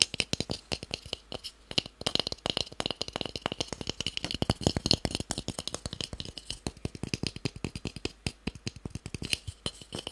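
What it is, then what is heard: Light wooden block. A small, solid, pale, palm-sized wooden cube held in the hand is tapped quickly with fingertips and nails. About sixty short, dry clicks with almost no ring come in a rapid, uneven stream, with a bright tone peaking near 2.9 kHz.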